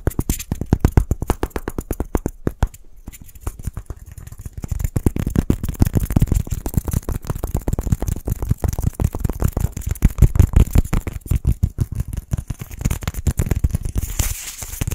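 Two matching small white solid styrofoam balls, held one in each hand, are tapped and scratched quickly with fingertips and nails. The result is a dense stream of rapid, dull, low thumps with short scratchy rustles between them. Each hit dies away almost at once.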